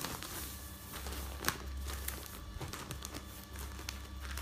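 Hands lift a sheet of newsprint newspaper, then fold and stack the pages on a bed and rub them with their fingertips. The result is soft, continuous rustling and crinkling, with occasional sharper paper snaps, the strongest about a third of the way in. A steady low hum runs underneath throughout.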